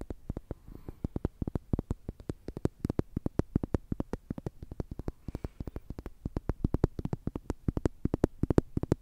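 Long nails scratch and tap a slim orange plastic tube toy with a green end, likely hollow, held close to the microphone. A fast, steady run of dozens of short, dry taps with a low, hollow thump and almost no ring, with faint scratching between them.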